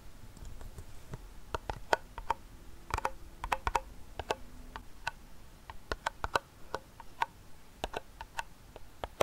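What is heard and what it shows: A small, closed, hollow round silver metal tin holding a fidget spinner is held in one hand and tapped and scratched on its side wall and rim with the fingertips and nails of the other hand. Quiet, irregular, sharp clicky taps come in quick bursts, each with a brief metallic ping near 900 Hz that dies away almost at once. Soft scratching fills the gaps between them.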